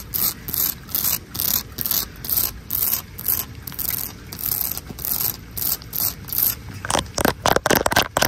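Long acrylic nails and fingertips scratch and rub a solid tan textured stucco exterior wall. The result is a steady rhythm of bright, gritty scraping strokes, about four per second, which turn into faster, sharper scratches in the last second or so.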